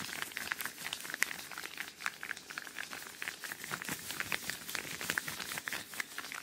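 A pair of thin yellow latex or rubber household gloves, worn on both hands and held in front of a microphone, has its fingers rubbed, squeezed and flexed against each other. The result is a steady stream of quick, bright, squeaky, crinkly rubber sounds with almost no low end, and each squeak cuts off sharply.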